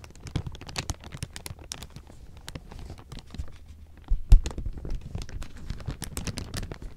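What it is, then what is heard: Crumpled thin plastic film. Fingers grab and crumple a large pile of thin, clear plastic sheeting, producing a dense stream of sharp, bright crinkles and crackles over a low, steady rumble. The crinkling grows louder and busier about halfway through, with one strong crackle before it settles back to a continuous rustle.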